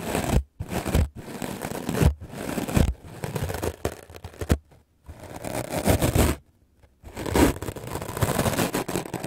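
A white, solid, rectangular melamine foam sponge held in the hand is brushed with a wooden-backed clothes brush with black bristles. Fast bursts of dense, scratchy scrubbing are heard, weighted toward the low end, broken by short silent pauses, including a longer gap near the end before the brushing resumes.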